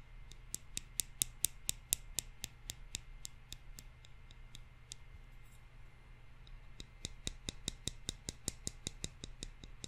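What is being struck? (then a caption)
Pair of thin wooden chopsticks. A pair of thin, solid wooden chopsticks is tapped and clicked against each other by hand in front of a microphone. About thirty short, dry, bright clicks come in quick runs, with a quieter stretch in the middle. A steady low hum sits underneath throughout.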